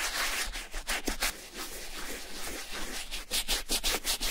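A wooden bristle brush loaded with foamy shampoo scrubs the outer suede of a hollow brown Levi's vintage suede leather boot resting on a towel, working near the zipper and shaft. Repeated, uneven brushing strokes make a bright, breathy scratching hiss, with louder, faster strokes toward the end.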